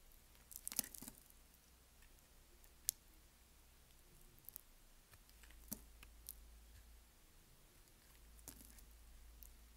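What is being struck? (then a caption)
Bar of soap scraped with a knife blade. A solid white rectangular bar of soap held in the palm has its surface shaved and scraped with a utility knife blade. The result is quiet, scattered, dry crisp clicks and short crunchy scrapes with a bright, sharp edge and almost no ring, over a faint steady low hum.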